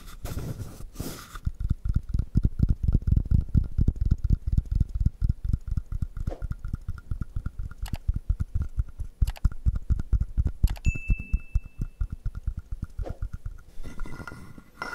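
A fingertip taps and strokes the ridged back of a hand-sized, hollow carved wooden frog guiro resting in the palm. It makes a rapid, uneven stream of soft, dull, low knocks and rubbing clicks with almost no ring. A faint steady high tone briefly sounds partway through.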